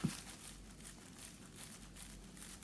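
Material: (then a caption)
Cardboard. A cardboard box holding a vintage sewing machine packed in bubble wrap and paper is lifted and shaken to check whether the machine moves inside. Only soft crinkling of the packaging and a low muffled thump are heard, with no rattle. The machine is packed tightly enough, since a rattle would mean it needs packing tighter.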